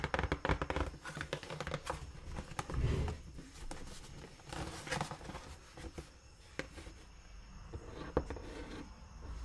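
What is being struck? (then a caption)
Cardboard shoe box. Long nails tap and scratch the side panel of a large, brown, hollow, closed cardboard shoe box held up close. Quick, dull, low-pitched thuds mix with dry, papery scraping, busiest and loudest in the first few seconds before easing into softer, sparser taps and rasps.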